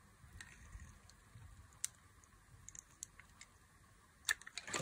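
A box-cutter blade scores fine cuts into the surface of a solid white bar of dry soap held in the hand. Quiet, crisp, bright scratching ticks come at an irregular pace with very short decay over a soft low background. A louder cluster of scrapes comes near the end.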